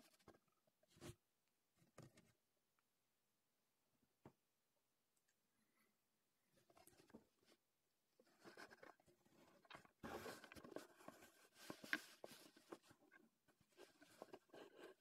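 Fingertips tap and pat a small, closed, printed Heddon cardboard fishing-lure box, probably holding the lure, resting on a dark table. A few sparse, soft, dry taps come first, then build into quieter rustling and denser, faster patting and scratching in the second half, with bright papery edges and little low end.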